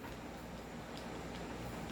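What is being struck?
Nothing is struck.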